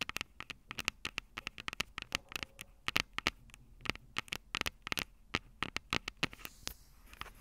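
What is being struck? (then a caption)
Metal microphone capsules of a handheld recorder. Long purple acrylic nails tap the two metal microphone capsules of a small black plastic Tascam DR-05 handheld recorder held upright. Dozens of quick, irregular, sharp, dry clicks sound bright and close, with no ring and a faint low hiss between taps.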